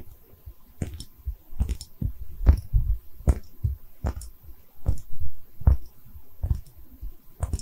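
A small, hollow, cream-colored porcelain liquor bottle with a textured surface, held in both hands, is tapped and scratched with long red nails. Soft, dull taps thud low and close, with a brief bright click at the edge of each. Faint scratching rustles in between, and each tap dies away almost at once.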